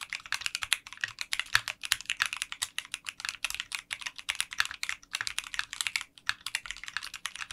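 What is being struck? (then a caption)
Mechanical keyboard with clear polycarbonate keycaps. Fingertips type continuously on a 60% mechanical keyboard with translucent pink polycarbonate keycaps in a clear case. The result is a rapid, steady stream of short, bright clacks with almost no low end, each keystroke snapping off dry without any ring.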